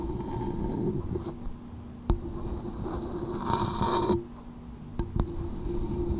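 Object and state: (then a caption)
Coconut shell bowl. Long nails tap and scratch the outer shell of a small, hollow coconut shell bowl resting upside down on a microphone. A muffled, boomy low rumble runs throughout, broken by a few sharp, short clicks. A brief brighter scraping swell comes near the middle.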